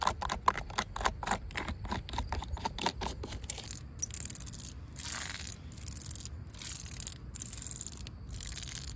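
Long pink acrylic nails tap and scratch a yellow, ribbed, hollow plastic corrugated safety cap on top of a chain-link fence. Quick, dry, clicky taps with a hollow tone around 1 kHz come first, then give way to longer, bright raspy scratching strokes over a steady low background rumble.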